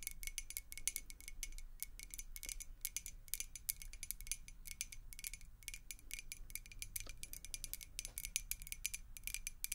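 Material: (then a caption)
Glass. A clear faceted glass beer mug, partly filled with water, is tapped rapidly with the long acrylic nails of both hands. The taps are quick, bright clicks with a high glassy tint and almost no ring, over a low steady background hum.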